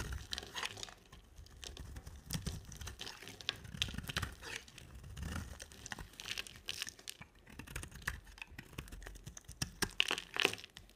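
A box-cutter blade shaves and carves a dry, solid oval cream-white soap bar with a black coated rim, held in the hand. It makes a steady run of crisp, bright scraping and crumbly crunching strokes with short, dry attacks and no ring. Low thuds sit under the shavings.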